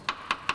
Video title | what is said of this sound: MOT Matters - Corrosion? Not a Problem! 2003 Vehicle Inspectorate Guide. | good metal has a different sound